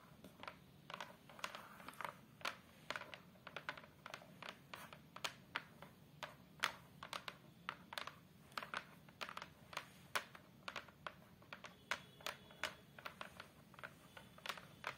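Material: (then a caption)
Hardboard. Fingers with long acrylic nails tap and scratch the flat brown hardboard back panel of a photo frame. The result is dozens of short, dry clicks with a bright edge and almost no ring, over a soft, steady scratching hiss.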